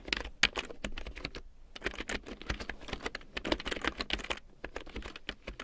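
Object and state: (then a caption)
Plastic keyboard being typed on. Fingertips with long painted nails type on a black plastic large-print computer keyboard with large yellow plastic keycaps printed in black, lying on a fur rug. A quick, uneven run of short, dry, bright plastic clicks and taps follows, with brief pauses between bursts.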